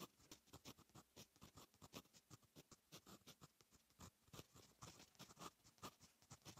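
A fine metal fountain pen nib writes Korean text on a lined paper notebook page. A quick run of short, dry scratching strokes follows one after another, each with a bright, papery rasp and almost no ring. The whole passage stays soft and close.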